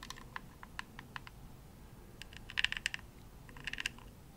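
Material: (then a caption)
Plastic. Long nails tap the shell of a hollow, pink glossy plastic Xbox controller held near the face. The taps make sharp, bright clicks with almost no ring, peaking around 2.8 kHz. They start as scattered single taps, then come in quicker clusters over a faint low hiss.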